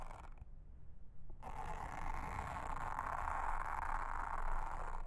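A round blue silicone honeycomb-textured trivet mat, flat and solid, is brushed close-up with a pink mascara spoolie brush. After a brief scratchy start and a near-quiet gap, a steady dense bristly brushing sets in with a rough, rasping texture centered in the midrange.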